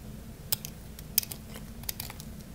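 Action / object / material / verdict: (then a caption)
scrape / bar of soap / soap / none. A craft-knife blade cuts into the remaining piece of solid, dry red bar soap, producing eight short, sharp, bright crunching clicks. Three of the clicks are louder than the rest. A low, steady rumble sits underneath.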